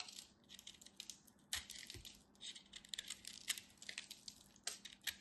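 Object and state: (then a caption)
Pressed soap-flake ball being carved. A craft knife carves and scrapes the surface of a solid, fist-sized ball of compressed multicolored soap flakes held in the hand, and crumbs fall away. The sound is a quiet stream of crisp, bright scratches and crackles with many brief, sharp ticks and no low body, like fine grains crumbling.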